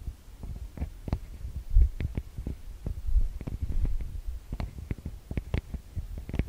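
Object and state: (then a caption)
Metal mesh microphone grilles tapped up close. Long nails and fingertips tap and rub the metal-grille microphone capsules of a TASCAM DR-40X recorder. The result is a run of close, muffled thumps with brief brighter clicks, dominated by a deep low hum and throb around 59 Hz.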